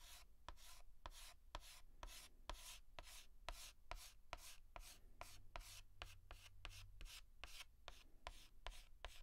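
A white chalk stick is rubbed in short, quick hatching strokes across a large flat blackboard to fill in a letter. The strokes come in a steady rhythm, each a dry, bright scratch with a sharp click at its start, over a low, steady hum.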